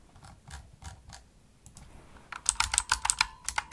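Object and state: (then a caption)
Plastic mechanical keyboard. Long nails and fingertips type on a pink plastic Razer mechanical keyboard with backlit keys and a hollow body, tapping the keys rapidly. A few soft, muffled taps come first, then a faster burst of louder, bright, clacky key clicks with short, dry decay.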